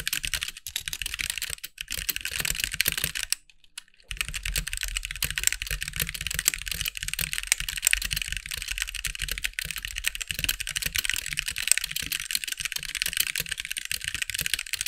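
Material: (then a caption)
Plastic. Fingertips of both hands type on a compact backlit mechanical keyboard with white plastic keycaps, producing a dense stream of short, bright clicky keystrokes. Typing pauses briefly for a second near the 3.5-second mark, then resumes steadily with a faint low thump under the bright clatter.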